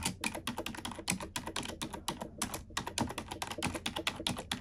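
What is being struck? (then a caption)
Plastic computer keyboard. A black plastic computer keyboard is typed on with long nails and fingertips, giving a quick, uneven run of dry, clicky taps. Each keystroke is short and bright with almost no ring, over a faint low rumble.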